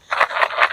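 A dried loofah gourd is shaken, giving a bright, dry rattle of many loose seeds inside in quick bursts. The clear rattling shows the loofah is ripe, with plenty of seeds.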